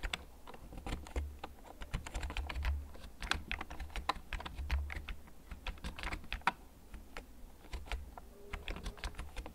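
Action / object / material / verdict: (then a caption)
tap / plastic computer keyboard / plastic / none. Fingertips slowly tap the keys of a hollow, backlit plastic gaming computer keyboard held up in both hands. A steady run of short, sharp clicks lands at an uneven pace over a constant low hum, each click dying away almost at once.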